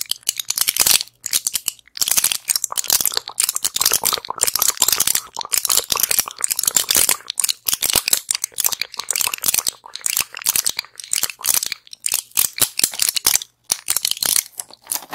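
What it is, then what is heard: Plastic and foil pill blister pack. A small flat pill blister pack with clear plastic bubbles and a foil backing is held in both hands, tapped and scratched with long acrylic nails near the microphone. Dense, bright crinkling taps and scratches come in quick bursts with brief pauses, with almost no low end and very short decay.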